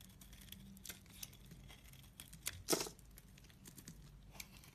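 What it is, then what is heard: Bar soap being carved. A utility-knife blade scrapes a solid, heavily carved orange soap bar, with shavings piling up. Quiet, dry, bright scraping strokes with a crinkly texture come in short bursts. The loudest, longest scrape lands near the middle of the clip over a low steady background hum.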